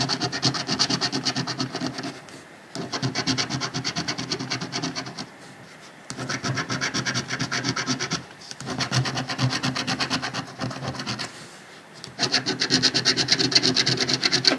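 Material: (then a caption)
Paper. A coin quickly scratches the remaining latex panels on a thin, flat paper $30 Georgia lottery scratch-off ticket resting on a dark cloth. Bright, gritty rasping comes in five bursts of rapid strokes, separated by short pauses.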